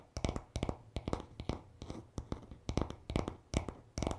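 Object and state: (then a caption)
Wooden hairbrush back. Fingertips tap and short nails scratch the smooth, solid wooden back of a paddle hairbrush lying on a towel. Quick, irregular clusters of dull, short taps with a low thud come through, mixed with faint scratching in between. Each tap dies away almost at once.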